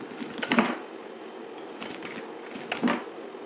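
A utility knife scrapes and slices a dried, solid blue soap bar held in the hand. Dry, crisp crackling scrapes come in short bursts over a soft steady hiss. The two loudest cuts land near the start and again near the end.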